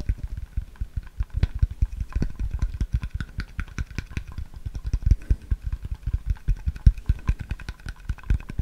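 A clear, labeled plastic water bottle, hollow and mostly empty and held sideways, is tapped and scratched with fingertips and nails. Dozens of quick, dry taps fall in a dense, uneven rhythm for the whole clip, each a short low thump with a faint bright click and almost no ring, over a soft scratchy hiss.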